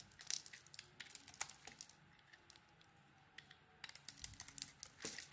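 A metal blade scrapes dry flakes off a solid white soap bar with pink remnants, held in the hand. Quiet, bright, crisp crackling and scraping come in bursts for the first two seconds, fade into a near-silent lull, then return in a denser cluster toward the end.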